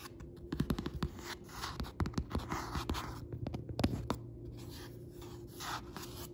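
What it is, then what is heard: Hardcover book, solid. A Tabasco cookbook, a solid hardcover with a printed paper-covered board cover, lies flat as fingertips tap and scratch across it. Soft, dull taps in quick irregular clusters mix with lighter rubbing and scratching over a faint steady hum.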